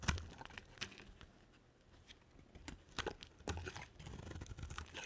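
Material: Soap.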